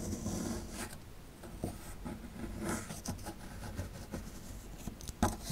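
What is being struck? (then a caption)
Plaster dig block scraped with a metal pick. A metal pick scrapes at the lower right area of a solid plaster fossil dig block, giving a low, gritty rasping with brief scratchy bursts and a sharper tick near the end. A faint background rumble, possibly vehicle noise, sits underneath.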